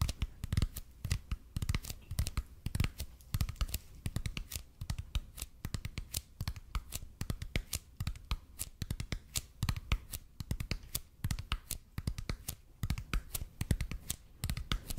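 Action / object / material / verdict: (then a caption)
tap / expanded polypropylene foam roller / EPP foam / none. Fingertips tap and scratch the surface of a red and white speckled expanded polypropylene (EPP) foam roller held in both hands. A steady stream of short, dry taps sounds, each a dull low thud with a bright clicky edge that dies away almost at once, mixed with light scratchy rustling between strikes.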